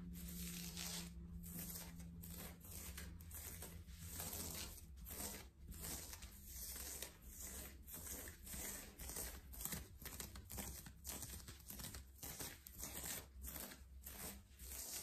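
Fingertips and nails of both hands scratch and rub a worn yellow ribbed knit cotton long-sleeve top near the collar and chest, its soft fabric on the body. The result is a quiet, close stream of repeated dry, bright scratching strokes over a steady low hum.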